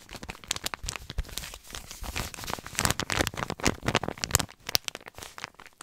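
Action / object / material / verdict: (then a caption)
scrape / paper compress pouch / paper / none. A white paper compress pouch labelled "Kompresse" is crinkled and rubbed with fingertips, producing a dense run of dry, bright crackles and crinkles. Short sharp snaps rise out of a steady papery rustle, with little low end.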